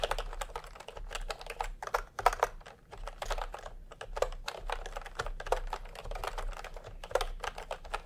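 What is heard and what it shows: Fingertips type in continuous quick taps on a full-size plastic typewriter-style computer keyboard with round retro keycaps in peach and cream, lying on a white cloth. The result is a steady stream of short, dry, clacky key strikes with a mid-range tone, over a faint low hum.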